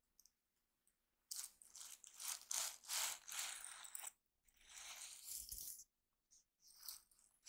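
Fingertips and short painted nails scratch and brush across the flip-sequin unicorn cover of a solid, notebook-sized diary held upright, flipping the sequins. Bright, crunchy, rattling rustles come in quick uneven bursts after a near-silent start, pause briefly, then sweep again in a longer stroke. A few short scratches trail off at the end.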